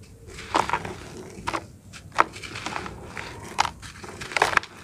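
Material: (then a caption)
Dirt. A hand-sized packed block of dry, grainy red-brown dirt, solid and crumbly, is crushed and rubbed between bare fingertips and palms over a basin of loose dirt. Sharp, bright crunches and crackles break out in bursts as loose dirt pours between the hands, with a soft, grainy hiss in between.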